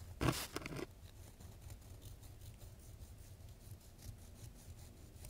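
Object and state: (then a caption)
Sandpaper sheet scratched with wooden sticks. Two thin wooden sticks are scratched across the grit of a coarse sheet of sandpaper. A loud, rough broadband scrape opens the clip, then it settles into a quieter, steady gritty scratching with faint bright rasps.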